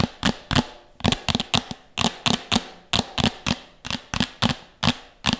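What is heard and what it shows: Long nails tap and scratch fast on a medium, empty, hollow red plastic bowl held beside the mic. The result is a rapid series of sharp, hollow clicks with a low plastic body tone and a bright scratchy edge, each decaying quickly.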